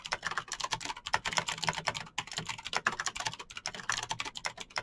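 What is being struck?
Plastic mechanical keyboard.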